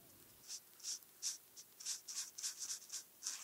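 A felt-tip marker is rubbed in small strokes on a flat paper coloring page while small dots are colored in. Each stroke makes a brief, soft, bright scratchy swish with no low end, separated by short quiet gaps.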